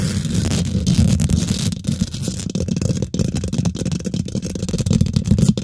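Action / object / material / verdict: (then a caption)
scrape / metal mesh microphone grille / metal mesh / none. Long nails and fingertips of both hands rapidly scratch and tap the domed, hollow woven metal mesh grille of a large silver condenser microphone. The result is a dense, continuous stream of boomy, rumbling scrapes and quick dull taps, heavy in the low end with only faint brightness on top.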